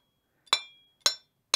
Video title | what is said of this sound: HVAC 081 Liquid line filter drier | if we tap on our muffler you hear that definite ring to it so it's a little different because it's open but it has that ring to it